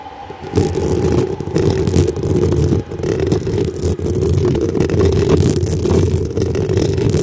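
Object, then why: Metal mesh microphone grille. Long acrylic nails scratch quickly across the hollow black metal mesh grille on top of a desktop microphone. The result is a dense, continuous, low rumbling scrape with a muffled, boomy body. It kicks in after a quiet half-second and runs steadily, with brief dips along the way.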